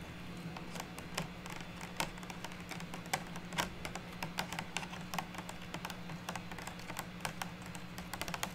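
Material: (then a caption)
Plastic. Natural long nails tap quickly on the top and sides of a small, clear, rigid plastic box holding stacked wood slices as it sits on a table. The result is a steady stream of sharp, light clicks with bright, crisp transients, over a faint low, constant hum.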